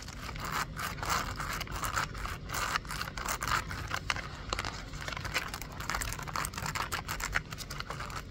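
Long acrylic nails tap and scratch a small, hollow, hand-sized pink printed cardboard toy box held over a shopping cart. Quick dry taps blend with papery scraping rasps in a steady, busy stream, each sound dying away almost at once.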